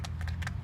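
A quarter coin rattles inside a small magic box as the box is shaken. Four short, bright metallic clicks ring over a steady low rumble.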